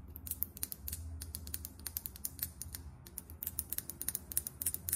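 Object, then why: Small foundation bottle with plastic cap. Long acrylic nails tap quickly on the label and plastic cap of a small, filled foundation bottle. About thirty sharp, bright clicks sound in rapid, uneven bursts, each dying away almost at once. A steady low rumble runs underneath.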